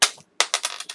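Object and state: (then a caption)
Copper cent coin dropped. A 1981 copper cent is dropped and lands with six bright, high-pitched metallic clinks, each one short with almost no ring. The first impact is followed by a brief silence, then the remaining clinks come in quick succession and fade.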